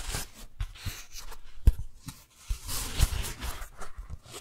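Fingertips and long nails peel the sticky folds of a thin pink daisy-print beeswax-coated cotton food wrap apart, crinkle it, then open it flat. Soft, irregular crackling and tacky peeling sounds with a bright, papery texture run throughout. A few sharper snaps stand out, loudest around the middle and near the three-second mark.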